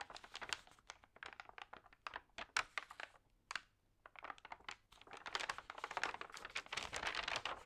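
Fingers lift, crinkle and turn the damp, thin, newsprint-like pages of a large open magazine lying on a table. Bright, papery crackles come in quick, short bursts with a brief near-silent pause just before the middle. The crinkling then grows denser and more continuous toward the end.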